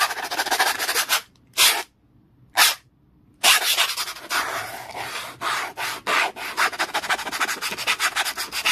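A small orange brush or textured tool, held in the fingers, is rubbed fast and hard across a black plastic "clear holder" document folder lying flat on a towel. The result is a bright, dry, scratchy brushing with rapid back-and-forth strokes. Two short bursts are separated by silent gaps near the start, then the strokes run almost continuously to the end.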